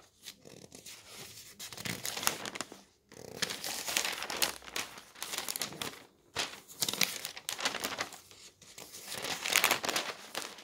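A hand lifts and flips the thin newsprint pages of a paper newspaper lying on a table. Bright, crisp crinkling and rustling comes in four bursts separated by brief pauses, with little low-end weight.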